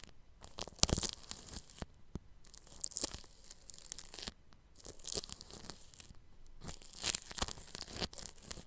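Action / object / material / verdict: scrape / plastic cling film stretched over a microphone grille / plastic film / none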